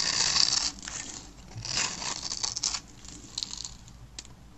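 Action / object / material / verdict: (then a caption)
scrape / soap bar / soap / none. A blade with a yellow handle scrapes across the surface of a solid, palm-sized, green and white striped dry soap bar held in the hand, sending crunchy cubes scattering. Bright, dry, high-pitched scratching and crunching comes in uneven bursts, loudest at the start and fading to softer scrapes toward the end.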